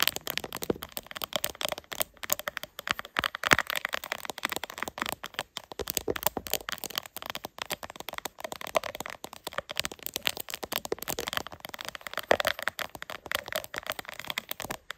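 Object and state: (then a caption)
Plastic phone case with raised hearts. Long acrylic nails tap and scratch quickly over a gold-silver chrome plastic phone case covered in raised hollow puffy hearts, with the phone held on a tripod mount. The sound is a dense, continuous run of sharp, bright clicks and crackly scratches, mostly in the mids and highs with almost no low end. Each tap dies away almost instantly.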